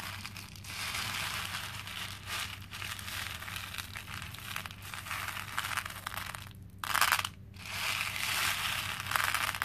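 Fingers press into and stir a pink plastic bowl full of small cream plastic faux pearl beads. The result is a dense, bright, crackling clatter and rustle that runs almost without a break, with two brief dips near the seven-second mark and louder bursts toward the end.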